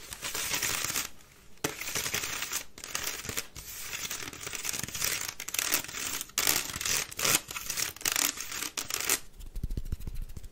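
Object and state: Wicker basket bin, empty.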